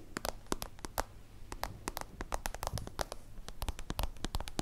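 A small translucent soft-plastic zip pencil case with a holographic layer is held in hand and scratched and tapped with long acrylic nails. A rapid, irregular series of sharp, crisp clicks and taps rises over a low, hollow rumble. Each tap dies away almost instantly.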